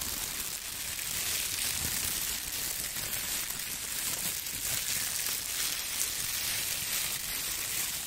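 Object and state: Nothing is struck.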